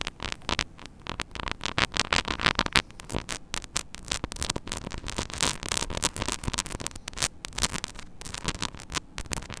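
Long nails scratch and tap rapidly on the hollow grille of a small metal mesh mini microphone head. The result is a dense, bright, crackling texture of short scrapes and clicks over a steady low hum.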